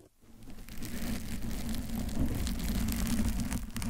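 Long pointed acrylic nails scratch the lower front of a hollow, soft pink foam bear-shaped cover fitted over a Blue Yeti microphone, with a blue cover nearby left untouched. After a brief near-silent start, a dense, muffled scratching and rubbing swells in. It settles into a steady, bass-heavy rumble with faint bright crackles on top.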